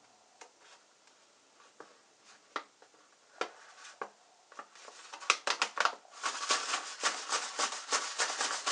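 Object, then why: Kraft paper pouch. Hands with long, light-painted nails rub, press and lightly tap the front of a medium printed kraft-paper stand-up pouch of fruit-paper snack, likely partly filled, lying on a white wooden surface. Scattered dry taps and crisp crinkles come first, then build into dense, bright rustling crackle with almost no low end.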